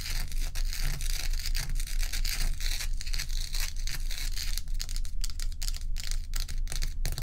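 Long acrylic nails on both hands rapidly tap and scratch a large, solid, bowl-shaped block of ice with a frosty top, while loose ice cubes sit untouched at its edge. The result is a dense stream of quick, crisp clicks and bright, gritty scratching over a steady low hum.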